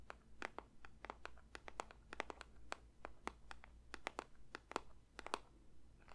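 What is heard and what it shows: A paper box is lightly tapped with the fingers in a quick, uneven run of soft, crisp ASMR taps. Each tap is a short dry click with a papery, bright edge and almost no ring, over a quiet low background hum.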